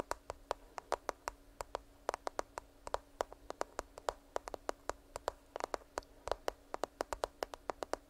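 A black smartphone with a glass screen and a case, held near the mic, is tapped and scratched with long nails. Dozens of quick, sharp clicky taps fall in an irregular rhythm, each dying away almost instantly, with a soft scratchy texture between them. A faint steady hum sits underneath.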